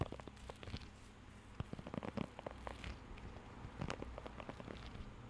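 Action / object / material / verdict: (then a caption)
scrape / rubber grooming glove with raised nubs / rubber / none. A blue rubber pet grooming glove with raised nubs is held close to the mic while fingertips scratch and tap across the nubs. Quiet, dense crackling taps and soft scratches come in uneven clusters over a steady low hum, each tick dying away almost at once.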